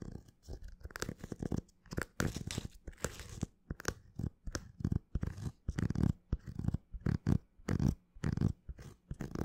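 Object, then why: Leather high-top sneaker. An empty black leather high-top sneaker with a white rubber sole is scratched with fingernails close to the mic. A steady series of short, rough scratching bursts with brief gaps between them, heavy in low rumble with a dry, scuffing texture and almost no ring after each stroke.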